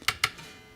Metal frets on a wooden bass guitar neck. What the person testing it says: Hear that short, sharp tap? Sounds the same. It's got the same sort of timbre